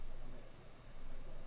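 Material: Nothing is struck.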